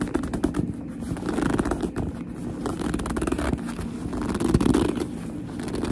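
A medium, soft, hollow black leather handbag is gripped and squeezed with long almond-shaped nails and fingertips. The result is a steady stream of squeaky leather rubbing and dense scratchy creaks. The sound is mostly low and muffled, with little high-end brightness.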